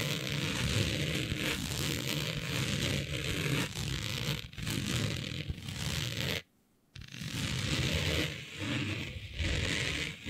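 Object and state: Nails scratching smooth synthetic fabric.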